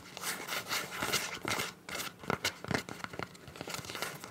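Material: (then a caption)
Soft plastic. Long nails tap, scratch and crinkle a clear soft PVC zip pouch with teal print, hollow and apparently empty. Bright, crackly rustling comes in irregular bursts, then a run of short, sharp taps with almost no ring, all close and quiet.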